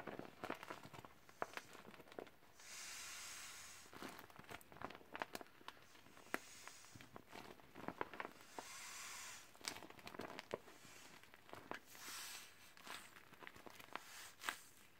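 Gloved fingers crumple and scrunch the thin plastic of a mostly deflated, hollow teal vinyl beach ball. Quiet crinkling crackles and sharp snaps ride over soft, breathy swells of hiss that rise and fall every few seconds.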